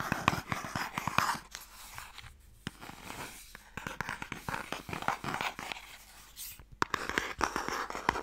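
Fingernails scratch and tap along the lid and sides of a long, light, hollow wooden Mikado box. Rapid, crisp clicks and dry, scratchy rasps carry a bright midrange tone near 950 Hz. Each tap dies out almost instantly, with louder flurries at the start and end and softer scratching in between.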